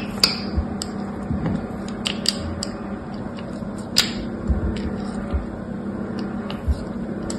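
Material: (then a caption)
Soap. A small, solid cube of dried bar soap with a blue coating and a beige interior is held in the fingertips while its edges are shaved and carved with an orange utility knife blade above a grid mat covered in soap pieces. Sharp, bright, crisp scrapes and clicks snap out at intervals over a low steady hum, each dying away almost instantly.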